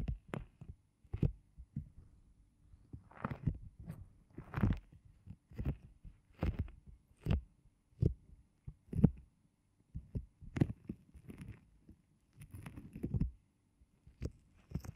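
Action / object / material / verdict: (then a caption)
tap / silicone ear-shaped microphone pads / silicone / none. Fingertips with short nails tap and rub across a pair of pink, ear-shaped silicone microphone pads made of solid soft rubber, dry and clean. The result is a string of dull, muffled low thumps with almost no ring, mixed with brief soft rubbing swishes that reach a little higher.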